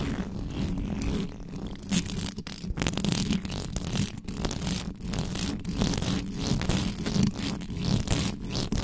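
Fingernails and fingertips of both hands scratch fast and hard on the bare metal mesh grille of a black microphone. The result is a dense, continuous rasping scrape with a heavy low rumble and brief brighter bursts, rising and falling in rapid strokes throughout.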